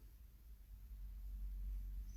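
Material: Nothing is struck.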